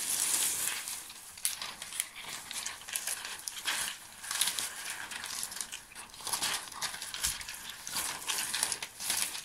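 A bunch of thin, shiny silver metallized plastic mylar foil strips is shaken and crumpled by hand. The result is a continuous bright, crinkling rustle with many quick crackly bursts and almost no low end.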